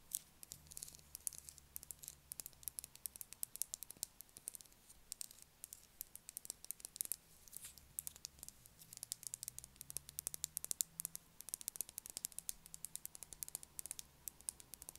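Long acrylic nails tap and scratch the surface of an unwrapped, palm-sized solid blue bar of soap held in the hands. The result is a quiet, steady stream of rapid, crisp clicks and bright, scratchy rustles, over a faint low hum.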